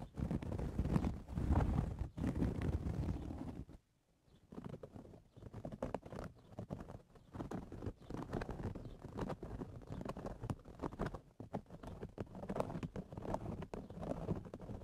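Fingernails scratch and pinch the top of the hollow crown of a woven straw cowboy hat, making a dense, dry crackling rustle that sits mostly low in pitch. The scratching is loudest for the first few seconds, drops out briefly just before the four-second mark, then carries on more softly in uneven bursts to the end.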